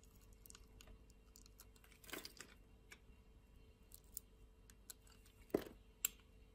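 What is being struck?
Soap bar.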